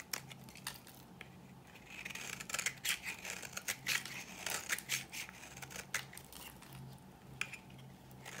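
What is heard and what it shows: A dry pink oval bar of solid soap, held in the hand, is scraped with a utility knife blade. The result is a series of short, bright, crisp scraping strokes at an uneven pace, with a faint low hum underneath.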